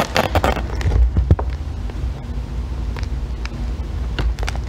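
A solid green bar of soap is held upright, steadied by long nails, while a metal loop tool scrapes along its edge. The result is a series of short, crackly scraping strokes with brief bright clicks over a steady low rumble.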